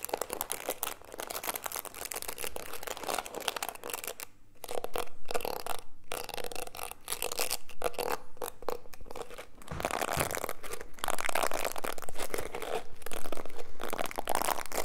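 Fingertips scratch along the dense plastic bristles of a small black plastic hairbrush held close to the mic. The result is a continuous, crackly, uneven scratching texture with a steady low rumble underneath, growing louder and busier in the second half.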